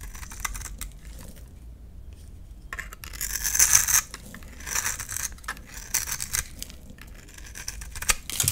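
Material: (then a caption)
Glycerin soap. A utility knife blade carves and scrapes yellow shavings from a small, solid, translucent orange-amber glycerin soap bar held in the hand. Crisp, bright scraping and crackling strokes come in bursts, with a near-silent pause around the two-second mark. The longest, loudest scrape falls between about three and four seconds.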